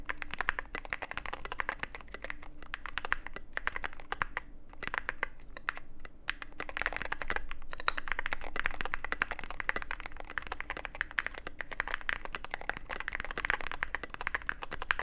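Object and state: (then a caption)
Mechanical keyboard being typed on. Steady fingertip typing on a Cyberboard mechanical keyboard with plastic keycaps and a black aluminum case produces a dense stream of short, sharp clacks with a bright, clicky edge and a low hum underneath. The rapid keystrokes thin out into a brief lull around the five-second mark, then resume at an even pace until the end.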